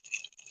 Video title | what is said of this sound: #Guard Dog #Chashing channel cats #Wisconsin | you guys can hear it pretty loud